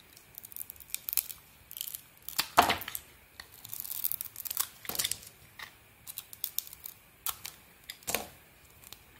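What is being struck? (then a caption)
Bar of soap shaved with a small metal blade. A small metal blade shaves and scrapes thin curls off a small solid bar of soap with a glossy green coating, held in one hand. There are dry, papery scraping and shaving strokes, some brief and some drawn out, with bright, hissy edges and almost no low end. Several stronger, longer strokes stand out, around 2.6 seconds and near 8 seconds.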